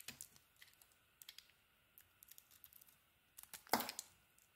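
An orange soap bar with a green coating is carved with a utility knife blade held in a hand with long dark nails. About a dozen quiet, crisp clicks and scrapes sound as the blade cuts, then a louder, brighter tearing slice near the end. Each sound is dry and short with no ring.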